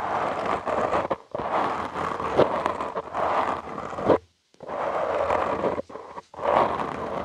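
Short nails and fingertips scratch and rub directly on the soft, porous black foam windscreen of a studio microphone. The result is dense, close-up scratchy rustling with a muffled midrange body and a bright, crackly top. It comes in long bursts broken by brief silent pauses.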